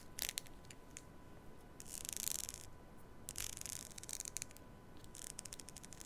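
Long nails scratch and run along the teeth of a long black plastic hair comb held close to a mini mic. The quiet clip is made of bright, dry scraping bursts and rapid clicking runs over a faint steady hum, with short pauses between strokes.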